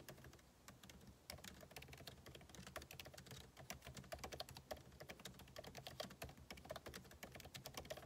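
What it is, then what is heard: Laptop keyboard being typed on. Two hands type fast with their fingertips on a backlit MacBook Pro laptop keyboard, its plastic keycaps set in a hollow aluminum body. A continuous stream of quick, crisp, bright key taps with almost no ring runs throughout, over a quiet, steady low hum.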